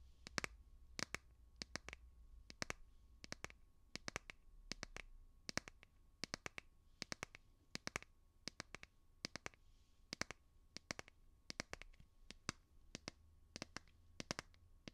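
Fingernails tap the back of a light blue plastic phone case fitted on a smartphone, held up next to a binaural microphone. The clicks are sharp, bright and dry, coming in quick clusters and pairs with almost no ring. A faint low hum sits underneath.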